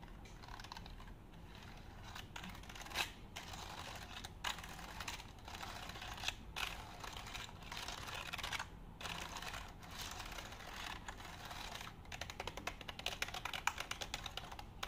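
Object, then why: Plastic computer keyboard. Fingers and nails tap and press the keys of a black plastic computer keyboard held up in the air, making quiet, bright, clicky typing sounds. The taps run steadily over a soft hiss, with a few louder clacks standing out, and turn into quicker, lighter ticking near the end.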